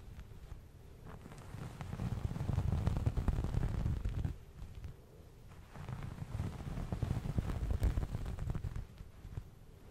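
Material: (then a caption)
Cotton. Fingernails and fingertips scratch and rub the surface of a soft, hand-sized beige cotton terry cloth towel held up close to a microphone. The result is a dense, low, muffled scratching and rustling that swells louder twice, from about 2 to 4 seconds and again from about 6 to 8 seconds, then eases back between passes.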